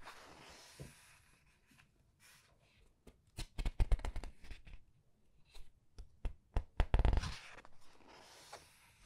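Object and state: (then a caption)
Paper book pages being turned. Fingertips with long red nails slide under, lift and turn single printed paper pages of a large paperback art book lying open on a white table, rubbing and flipping the paper. Soft, airy rustling gives way to two clusters of crisp, papery flicks and snaps that are bright but short, with quiet pauses between them. The pages settle with a faint brushing hiss.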